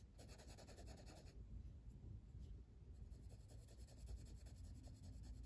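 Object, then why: Paper coloring book page rubbed with a wooden colored pencil. A hand steadily shades the flat paper page of an open coloring book, printed with a stained-glass flower design and lying on a table, using a blue wooden colored pencil. The result is a quiet, continuous, scratchy rubbing with a soft, low, dull texture and a faint rhythmic pulse from the back-and-forth strokes.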